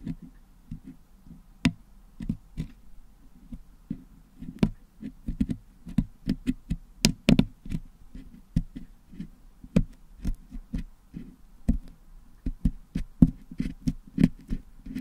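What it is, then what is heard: Putty-packed metal microphone grille picked with a toothpick. A wooden toothpick picks and taps inside the hollow metal mesh dome grille of a Blue Yeti microphone, which is packed with red and blue putty, to clean the putty out. The result is a steady, irregular series of short, dull, low taps and scratchy clicks, each dying away almost instantly, with faint brief ticks reaching into the highs.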